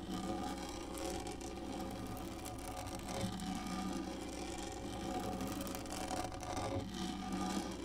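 Long nails on both hands scratch and drag across a large, hollow-molded black plastic lap tray with a textured surface. The result is a steady, dense rasping scrape with a hollow, resonant tone in the low-mid range and a faint bright edge, holding an even level throughout.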